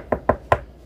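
Three knocks on a wooden desk, made for "knock on wood," each a short, dull, mid-pitched thud centered around 670 Hz that dies away almost at once. The knocks come unevenly spaced over under a second, and the desk sounds like solid wood.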